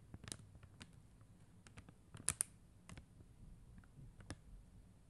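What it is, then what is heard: Acrylic rhinestone sticker sheet. Long acrylic nail tips quickly tap the clear and blue plastic gems on a flat sheet of acrylic rhinestone stickers on white backing. About ten soft, irregular clicks sound, each short and bright with no ring, over a quiet low rumble.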